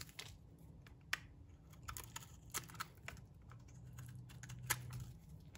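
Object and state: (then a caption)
Dry bar soap scraped with a blade. A metal box-cutter blade scrapes across the surface and edge of a solid, dry green bar of soap. Quiet, crisp scraping clicks and short bright ticks come over a low steady hum, and the sharper scrapes stand out at about 1.1, 2.6 and 4.7 seconds.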